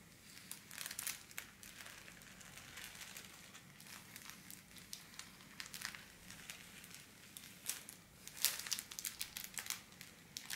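A thin pink holographic foil wrapping paper sheet on a table is scratched, rubbed and crinkled with long black-polished nails and fingers. The result is a quiet, bright, crackly crinkling of many short rustles and scratches, with louder bursts near the middle and end.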